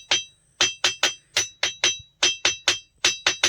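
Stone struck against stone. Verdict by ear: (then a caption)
Ringing. A stone is struck against another stone at the Dhundleshwar Mahadev temple, producing a rapid series of 13 sharp, high-pitched, bell-like clinks centered near 3.2 kHz. Each strike decays quickly at an uneven pace, and the stone rings like a bell, as expected.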